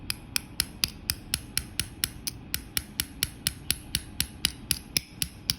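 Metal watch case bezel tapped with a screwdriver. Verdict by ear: Loose.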